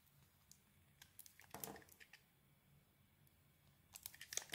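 A solid grey soap bar with a heart print and a pink interior, held in the hand, is carved with a metal blade. Quiet, bright, crisp crunching and scraping ticks are heard, with a longer rasping burst in the middle and a quicker run of cuts at the end. Each sound dies away almost at once.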